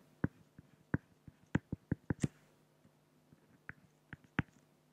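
A pen draws strokes on a flat, solid acrylic glass (plexiglass) sheet, producing a quiet series of short, dull taps and scratches. The taps are irregularly spaced, cluster in the first half, then thin out with a pause before a few final ones. Each tap is brief with almost no ring and a low, thumpy body.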